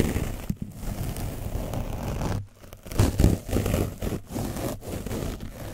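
A foam brush is gently rubbed over an orange foam microphone windscreen coated with dried paint, producing a close, dense scratching and rustling dominated by low, muffled rumble. The rubbing runs almost continuously in uneven strokes, with a brief quieter pause in the middle before it picks up again.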